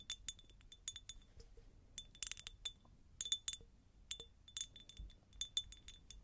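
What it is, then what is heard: Cut glass jar, empty. Long nails tap a medium, hollow, empty faceted cut glass jar in quick, uneven bursts. Each tap gives a bright, glassy clink with a high ringing tone near 3.5 kHz that fades almost at once, like tinkling chimes.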